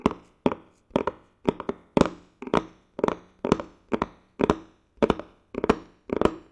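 A medium glossy blue cardboard box, likely hollow and empty, is held close to the mic and tapped with fingertips and nails. Quick clusters of short, dry, hollow taps fall in a steady rhythm, each dying away almost at once with no ringing.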